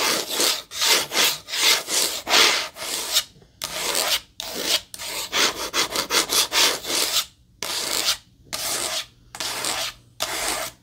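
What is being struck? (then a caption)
Small cardboard box. Long nails scratch the surface of a small rectangular white cardboard product box, likely empty. Repeated bursts of dry, rasping scratches with a bright, hissy texture come in an uneven rhythm, separated by brief silent pauses.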